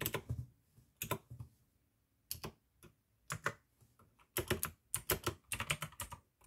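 Fingertips type slowly on the keycaps of a full-size pink plastic AUKEY mechanical gaming keyboard with RGB backlight, clicky blue switches and a hollow case. Irregular bursts of sharp, bright clicks with a low hollow thud beneath each keystroke are separated by short pauses, and each click dies away quickly.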